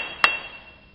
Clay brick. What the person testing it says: tap the brick and you should get this nice hollow sound to it that tells us it's a good brick